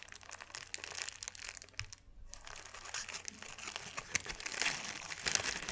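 A thin, hand-sized sheet of white paper is balled up and unfolded with the fingertips, producing dense, bright crumpling and crinkling crackles. The crackling pauses briefly around the two-second mark, then resumes and grows louder and sharper toward the end.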